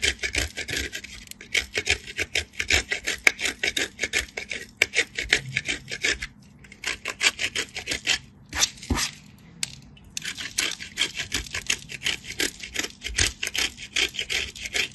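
A solid white piece of bar soap is grated by hand against a small stainless steel box grater, leaving soap shavings. Quick, bright, rasping scrape strokes follow one another rapidly, with short pauses around the middle of the clip.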